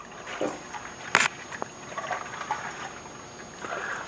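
A repaired steel fuel tank from a 1981 Honda CB650C, with its pinholes soldered and gasoline inside, is rocked back and forth, producing soft, intermittent sloshing and trickling of liquid, with one brief sharper splash. The sloshing shows the tank holds fuel, and no leaks appear at the soldered pinholes.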